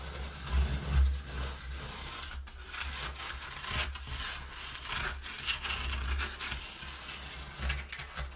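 Fingertips and nails scratch and rub the inside wall of an empty, partly folded brown corrugated cardboard box. Dry, papery scraping with bright, raspy edges comes in uneven strokes over a hollow low rumble. Several louder muffled bumps rise out of the steady rubbing.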